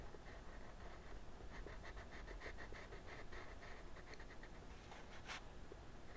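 A teal wooden colored pencil, held in the fingertips, draws light strokes outlining a dragon's head on a flat sheet of white drawing paper resting on a wooden desk. The sound is a quiet, dry scratching in a rhythmic train of short strokes with a band of grainy texture and occasional brighter flicks. It sits over a low, steady background rumble.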